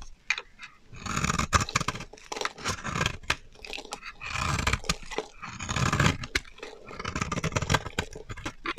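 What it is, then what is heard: Dry bar soap being shaved. A solid, dry pink bar of soap held in the hand is shaved with a metal utility knife blade, peeling off thin curls. Repeated crunchy, scraping strokes swell and fade, each with a low, rough body and a bright, hissy edge.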